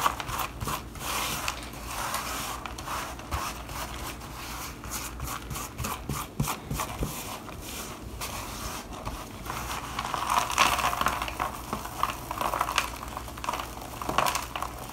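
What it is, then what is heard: Shaved bar soap. Gloved hands rub, scoop and sprinkle crumbled dry shaved bar soap powder and shavings in a black plastic bowl. Soft, continuous crumbly rustling and scratchy crackles fill the clip, with a bright granular texture and small sharper ticks as the flakes fall and shift. A steady low background hum sits underneath.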